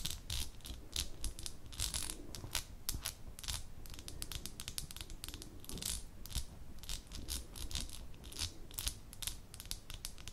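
Long nails tap rapidly on the bottom and sides of a small amber glass jar held up close, making a steady stream of sharp, bright glassy clicks. A low, dull rumble sits underneath the taps throughout.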